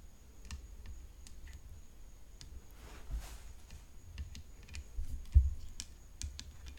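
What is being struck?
Tennis racket frame.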